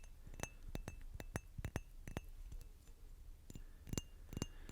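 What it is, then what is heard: Glass bottle tapping. A glass bottle is tapped repeatedly, making short, bright clinks with a quick ring over a low background rumble. The taps come in uneven clusters, some closely doubled, throughout the clip.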